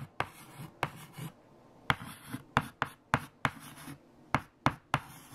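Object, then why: White chalk on a chalkboard. White chalk held in fingertips writes equations on a large flat black chalkboard. Ten sharp, bright taps of the chalk striking the board are heard, each followed by a brief scratching stroke, with quieter soft rubbing in between.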